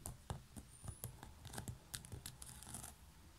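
Long fingernails scratch and tap on the lid of a coiled woven straw or seagrass basket with a knob. The result is a quick, irregular run of dry clicks and scratchy rustles over a soft, low, hollow thump, each tap dying away almost instantly.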